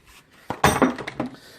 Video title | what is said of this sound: closer look at Christmas in July. | it does come but as you can hear there is some friction there